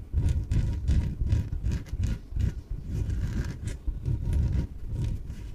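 Long nails scratch and rub the sides of a small, yellow, hollow, air-filled inflated PVC exercise ball. The result is a series of dull, low, rumbling scrapes in repeated strokes, with faint bright scratchy edges on top.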